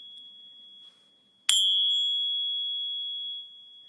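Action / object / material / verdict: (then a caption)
tap / metal bar tapped on a ping tester / brass / fake. A fake silver bar, apparently brass, rests on a ping tester and is tapped once. It gives a thin, high ring around 3.3 kHz with brief upper overtones, sustaining about two seconds before cutting off. The tone marks it as not real silver.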